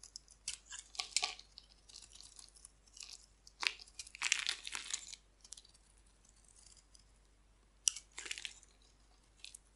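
A hand-sized, solid, oval bar of dry white soap is held in the hand and scraped and carved with a metal utility blade, shaving off crumbly white flakes. The sound is a series of bright, dry, crackly scrapes and crunchy tearing bursts with almost no low end, separated by quiet pauses.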